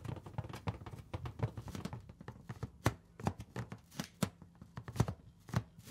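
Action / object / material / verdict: tap / inflated latex balloon / latex / none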